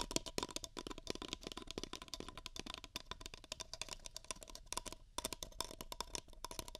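Long fingernails tap and scratch two identical empty beige paper cups, hollow and held over the ears of a binaural microphone. The result is a rapid, steady stream of crisp, bright clicks and dry scratching that stops instantly without ringing.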